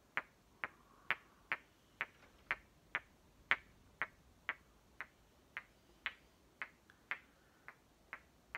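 The two solid halves of a small painted wooden toy watermelon, green with dark stripes, are held one in each hand and knocked and tapped against each other with fingertips. Eighteen short, bright wooden clicks, centered around 2 kHz, sound at roughly two per second in a slightly uneven rhythm. Each one dies away almost instantly against a quiet background.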